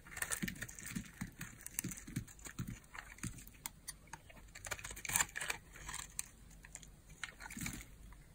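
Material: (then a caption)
Soap. A small, solid cream bar of hard soap held in the palm is shaved with a utility knife blade, and the flakes pile up on the blade. Quiet, dry scraping strokes with crisp, bright crunching repeat in quick succession, over a soft low rumble of handling.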